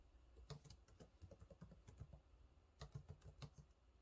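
Fingertips type on the low-profile plastic keys of a silver laptop keyboard, making repeated taps. The soft, quiet clicks are mostly low and thuddy with brief bright ticks, each dying away almost at once, in an uneven typing rhythm with a short lull in the middle.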